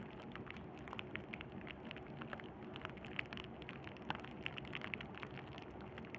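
A sheet of clear plastic bubble wrap, held in both hands over burlap, is squeezed and crinkled with the thumbs and fingertips. It makes a quiet, steady crackle dotted with many sharp, bright little pops and clicks that stop almost instantly, over a low rustling bed.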